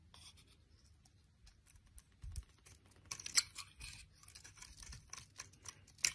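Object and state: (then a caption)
Bar of soap being shaved. A hand with long nails holds a solid oval bar of green soap while a utility knife blade shaves its surface into thin strips. Quiet, bright, dry scraping and crisp cutting strokes come at an irregular pace, with about ten sharper cuts standing out, the loudest near the middle and at the very end.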